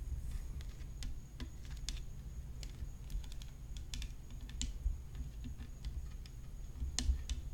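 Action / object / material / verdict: tap / graphite tennis racket frame with rhinestones / graphite / none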